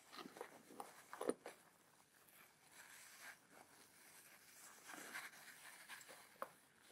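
Long fingernails scratch and tap on the fabric flap of a padded black nylon camera bag with plastic buckles that appears filled. Soft, quiet rustling scratches alternate with a few sharper taps, with a brighter crisp edge at the peaks.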